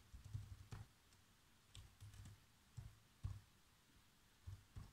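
Fingertips with short nails type fast across the keys of a black plastic chiclet laptop keyboard. Soft, muffled taps come in irregular bursts with faint bright clicks on top, each fading almost at once into a quiet background.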